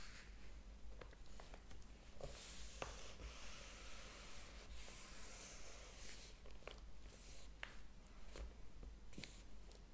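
Fingertips and nails rub and lightly scratch across the paper pages of a large open hardcover book. The result is a soft, steady bright hiss of rubbing with scattered short scratchy ticks over a low hum.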